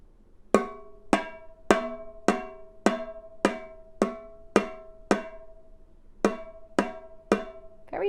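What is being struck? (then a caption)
Small open container with metal bottom. A small open container with a little metal on its bottom is tapped on the bottom 13 times at a steady pace, with a short pause after the ninth tap. Each tap gives a bright, pitched, cowbell-like clink around 390 Hz with higher overtones that decays quickly. The container's metal bottom makes its sound different from the other containers.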